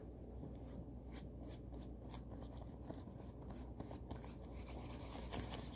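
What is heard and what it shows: Long manicured nails and fingertips scratch, rub and scrunch the smooth fabric of a blue floral satin kimono robe worn on the body. A quiet, steady rustling runs throughout over a low background hum, broken by short bright scratchy swishes as the nails drag across the satin.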